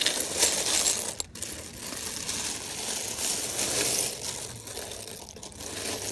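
Fingers pick through and stir a large loose pile of small mixed plastic and metal sewing buttons, so they clack together. A dense, bright rattle of tiny clicks runs continuously, with brief dips and swells as the buttons shift and settle.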